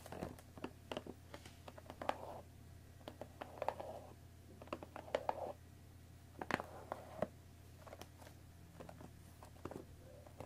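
Long nails scratch the top of a hollow cardboard Earl Grey tea bag box, then fingertips tap on it. Short, soft scratching bursts mix with quick, dry taps that stop almost instantly. A low steady hum sits underneath throughout.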